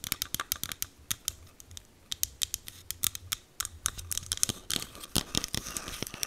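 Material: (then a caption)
Plastic. A small green plastic e.l.f. setting mist bottle with a clear cap is held close to the mic and tapped and scratched with long green acrylic nails. Quick, sharp, bright clicks come in an irregular run over a faint low hum, then give way to denser, rougher scratching near the end.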